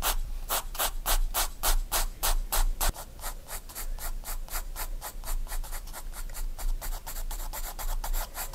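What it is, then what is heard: Pencil drawing on sketchbook paper. A graphite pencil draws short detail strokes on a page of a spiral-bound paper sketchbook. The strokes come as rapid, bright, scratchy bursts, about three to four per second, over a steady low hum. After the first few seconds they become quieter, shorter and more closely packed.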